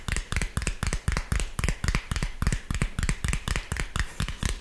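A round tan cork coaster, a thin solid palm-sized disc held in the hands, is tapped and scratched across its surface with fingertips and nails. About twenty dull, low thuds land in a loose rhythm of roughly four per second, each dying almost instantly and edged with a dry, bright scratchy rasp.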